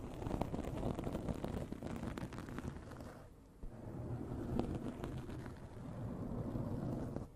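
Long nails of both hands scratch a soft, porous black foam windscreen covering a large desktop microphone. The result is a dense, continuous, low-heavy rumbling scrape with quick irregular strokes. It briefly drops almost to quiet near the middle before resuming at full intensity.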